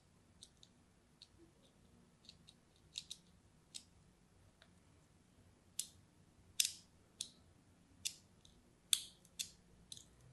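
A hand-held orange-and-white striped solid bar soap is crosshatch-scored with a small metal blade, making short, bright, crisp scratching cuts. The cuts come at an irregular pace over faint background hiss, growing louder and sharper toward the end.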